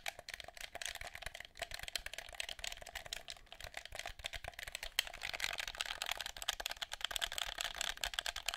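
Fingertips and nails tap and click the buttons and hollow shell of a black, hand-sized plastic PS4-style gamepad held in both hands. The sound is a dense run of quick, dry, bright clicks with almost no ring, growing busier after the midpoint, and faint mouth sounds may be mixed in.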